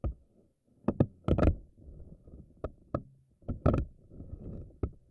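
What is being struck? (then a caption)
Silicone spiky ball. Long nails on both hands stretch the tentacles of a pink silicone spiky anemone ball and let them snap back. About ten short, sharp slaps stand out over a soft, low, squishy rubbing. The sound is mostly low and dull, with quick decays.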